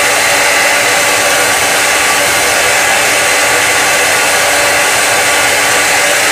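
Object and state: Nothing is struck.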